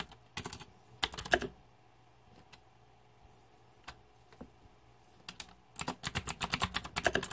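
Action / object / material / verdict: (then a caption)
tap / mechanical computer keyboard with plastic keycaps / plastic / none. Fingertips type fast on the plastic keycaps of a backlit, green-lit Razer 2014 Deathadder mechanical keyboard. Short bursts of crisp, bright clacks are separated by a quiet stretch with only a few isolated taps. A steady, rapid run of sharp keystrokes closes the clip, each click dying away almost instantly.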